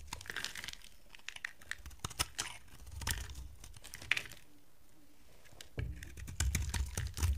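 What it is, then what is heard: Dry bar soap being shaved. A box cutter blade scrapes and shaves flakes from the end of a solid, dry purple bar of soap held in the hand. Quick, brittle crinkling and crunching scrapes with bright, dry texture come in uneven bursts, with a quieter pause before heavier, low-weighted scraping near the end.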